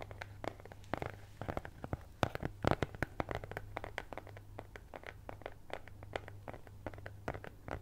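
A flat brown kraft cardboard cutout (possibly thin fibreboard), cut in the shape of a cat's head, is held close to the microphone with both hands and rapidly scratched and tapped with long nails. The result is a quick, irregular stream of short, dry, crackly scratches and taps that die away almost instantly, with a few sharper louder clicks, all over a steady low hum.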